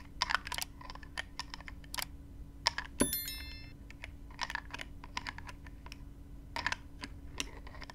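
Long nails rapidly tap and scratch the black plastic cap of a small clear plastic spray bottle filled with gold-glittery liquid, which is lifted slightly by hand. The result is a stream of quick, dry, typing-like clicks over a faint steady low hum. One harder tap at about three seconds leaves a brief bright ringing tone.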